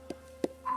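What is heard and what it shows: A living tree trunk is tapped three times on a solid part for comparison with a hollow, rotten area, giving short, dull, low knocks with almost no ring. A steady faint tone runs underneath, rising near the end. The wood here sounds solid and sound, unlike the hollow-sounding rotten section.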